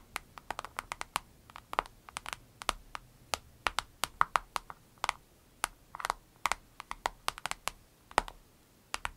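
An avocado-shaped vinyl case is tapped rapidly with the fingernails, producing some forty short, dry clicks in quick, irregular bursts. Each tap is crisp and bright, centered in the midrange, with almost no ring and little low end, much like typing.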